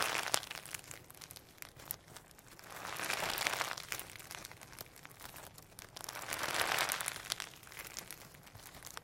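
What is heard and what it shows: Firm sequin hologram slime, dense with holographic sequins and pearl beads, is squeezed and stretched with the fingertips of both hands. Steady bright crinkling and crackling clicks run throughout, with two longer swells of soft squishing rising around the middle and near the end.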